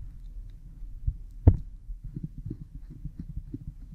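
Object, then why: Oiled silicone ear model. A cotton swab rubs behind an oiled pink silicone ear model microphone, making deep, muffled rubbing and soft scratchy strokes. One sharper, louder thump stands out early, then the low strokes continue in a steady, throbbing rhythm.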